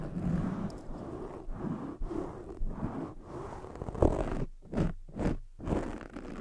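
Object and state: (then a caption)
Foam microphone windscreen being scratched. Long jeweled acrylic nails scratch fast from both sides across a soft black foam microphone windscreen. The result is a dense, low, muffled scratching and rustling that swells and breaks into short bursts with brief gaps toward the end.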